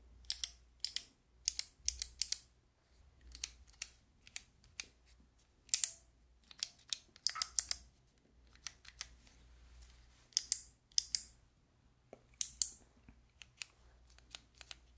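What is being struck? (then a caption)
Plastic keycap fidget toy. Long nails click and tap the white keycaps on a handheld fidget toy with a clear plastic frame. The result is a quick, irregular run of sharp, bright plastic clicks that stop dead, some coming in tight bursts, with almost nothing in the low end.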